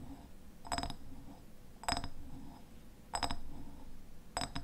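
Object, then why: Glass jam jar. A medium glass raspberry jam jar with a red paper label and a white lid has its glass sides tapped with fingernails. Four clusters of quick, bright clinking taps ring briefly over a low, quiet background hum.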